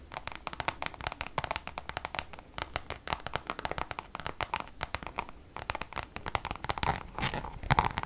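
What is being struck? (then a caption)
Coated canvas zip pouch. Long nails scratch rapidly across the textured Damier checkered coated canvas of a Louis Vuitton zip pouch held at an angle. The result is a dense run of dry, crackly scratches and sharp little clicks with a bright, papery edge, growing louder toward the end.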